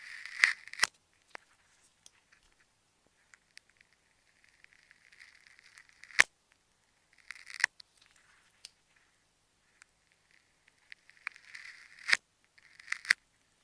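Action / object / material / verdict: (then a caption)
scrape / ball wrapped in plastic tape, cut with a thin blade / plastic tape / none. A thin metal blade slices and scrapes along the segments of a hand-sized solid ball held in the fingertips, peeling open its black plastic tape to reveal pink and green layers beneath. Short bursts of crisp, papery scraping and tearing sit around 2 kHz with bright high hiss, broken by sharp, dry snaps as the tape gives way. Quiet gaps separate the strokes, and nothing rings on after each cut.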